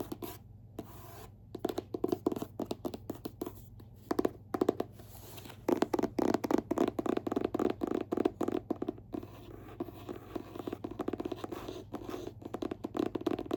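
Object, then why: Hardcover book with paper dust jacket. Fingertips tap and scratch on the paper jacket of a hardcover book-of-the-month novel, "Liquid." Many quick, soft taps and scratchy strokes come in dense clusters with short pauses between them. Each sound is dry and muted and dies out at once, with most of the energy in the low-middle range.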